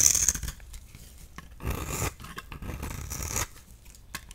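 A partly worn-down solid magenta bar of soap, held in the hand, is shaved with a utility knife blade while a pile of shavings builds below. Bright, dry scraping and rasping strokes come in short bursts with quiet gaps between them, with no ring after each cut.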